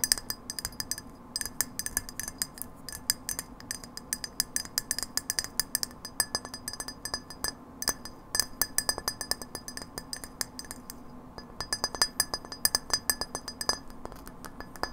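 Long nails tap rapidly on a hollow, frosted incandescent glass light bulb held by its metal base. The taps are quick, bright clinks with almost no ring, coming in dense irregular bursts with brief pauses over a faint steady low hum.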